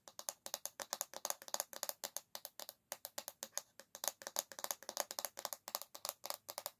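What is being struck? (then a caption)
Bamboo hairbrush back. Long fingernails tap fast on the solid bamboo back of an oval hairbrush, making a steady stream of sharp, bright wooden clicks. Each click is dry and dies out almost at once, with no low-end body, and the taps come in quick clusters with brief pauses for about seven seconds.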